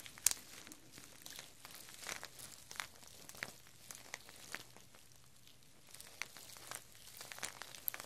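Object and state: Plastic artificial chili pepper string.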